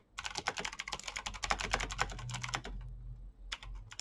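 Fast two-handed fingertip typing on a black plastic mechanical keyboard with green clicky switches. It makes a rapid, dense run of bright, sharp clicks over a faint low hum. The clicks pause briefly near the end, then a few more keystrokes follow.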